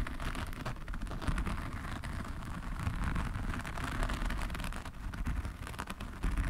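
Both hands scratch with fingertips and nails across a large, flat diamond painting canvas covered in tiny faceted resin drills, lying on a table. It makes a steady, dense crackling rasp over a heavy low rumble, with fine, bright clicks scattered throughout.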